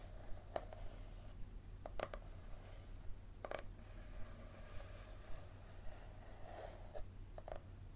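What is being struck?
Paperback book with leathery cover.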